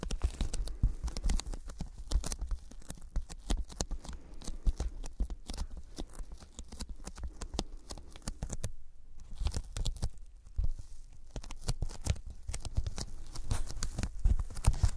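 Fingertips tap and press rapidly on a solid, rectangular white foam board about A4 in size, held upright in both hands in front of a pair of microphones. The taps have a sticky, tacky quality, producing dense, dry, muffled thuds with crackly peeling clicks and almost no ring. The tapping continues steadily throughout, with a brief quieter stretch just before the midpoint.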